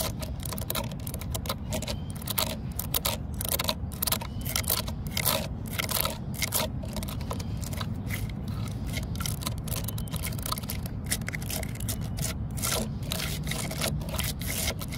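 Long fingernails scratch and tap along the deep grain cracks of a solid, weathered wooden post. Rapid, dry scratchy strokes and quick clicking taps come in uneven bursts with bright, raspy edges. A steady low rumble runs underneath throughout.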